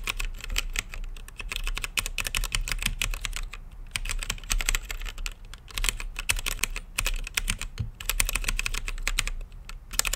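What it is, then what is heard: Mechanical keyboard with plastic keycaps. Fingertips type on a blue-lit mechanical keyboard with plastic keycaps in a clear acrylic case. Rapid, bright clacking keystrokes with a low thump come in steady bursts separated by brief pauses, each click ending sharply.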